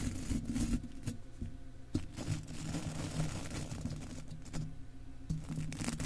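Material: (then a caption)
Metal mesh. A stiff-bristled golf club cleaner brush brushes and scratches across an uncovered, hollow silver metal mesh microphone grille. The result is a steady, close, low-heavy rasping and scratching with thumpy bass, broken by a few sharper scraping bursts as the bristles drag over the mesh.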